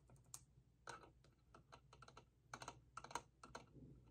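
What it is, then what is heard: Vinyl figure tapped with fingernails. Fingernails tap and rub the rods and body of a small vinyl hourglass-shaped figure with a top disc and base. About a dozen quick, dry clicks with short scratchy rubs between them are heard, each tap dying away almost at once over a faint low hum.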